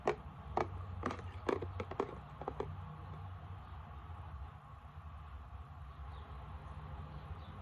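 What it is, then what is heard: Plastic isopropyl alcohol bottle. Long nails tap and scratch the flat side of a frosted plastic isopropyl alcohol bottle with liquid inside. A run of quick, dry, short taps comes in the first few seconds, then gives way to a soft, steady scratching over a low background rumble.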